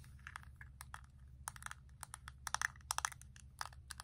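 Long acrylic nails tap repeatedly on the clear plastic case of a small, flat Colourpop eyeshadow palette holding four pans of shadow, held in one hand. The result is a dense run of quick, bright clicky taps with almost no ring, over a faint low hum.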